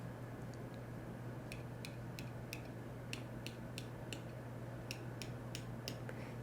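A sealed metal lid on a glass jar of pressure-canned baked beans is tapped repeatedly, giving a series of light, sharp ticks over a steady low hum. The lid is sealed and sounds solid, unlike the hollow ring of an unsealed jar.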